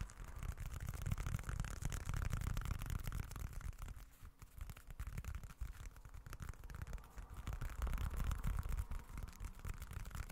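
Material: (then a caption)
Leather. A small, dark, folded leather-look wallet, held in both hands, is scratched with the fingertips, giving a dense, rapid scratching texture with a strong low rumble. The scratching is steady and continuous, dipping quieter for a moment around the middle before building back up.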